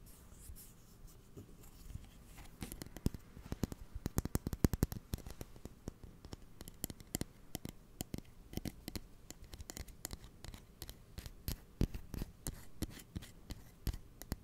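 Fingernails scratch and tap along the blade of closed steel kitchen scissors held horizontally close to the mic. The result is quiet, dense, rapid clicks and soft scraping, with bright ticks over a low, thumpy body. Each tap stops dead with no ring.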